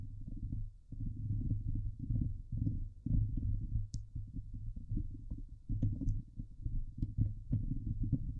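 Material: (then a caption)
Steel mesh. Fingertips and long painted nails scratch and rub across the hollow steel wire-mesh grille of a Blue Yeti microphone head. The result is a dense, low, muffled rumble of thumping scrapes in uneven bursts with short pauses, and a few faint bright ticks.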